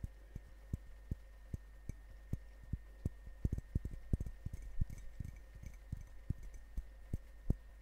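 A medium ceramic coffee mug printed with a Grumpy dwarf design, hollow and apparently empty, is held in one hand and tapped with long painted fingernails close to the microphones. The taps come as short, dull, low knocks with almost no ring, in an uneven rhythm that bunches into quicker runs midway. A faint steady hum sits underneath throughout.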